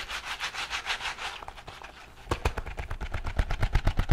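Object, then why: Silicone scrubbing glove with bristles. A green silicone scrubbing glove with a bristled surface is rubbed and scratched with fingertips and palm. Rhythmic, airy rubbing strokes sweep through the first second and a half, then fade to a quiet, soft patch. From about 2.3 seconds, quick, sharp scratching taps with a low thump take over and grow louder toward the end.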